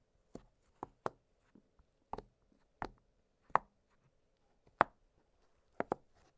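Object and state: Silicone pop-it fidget toy.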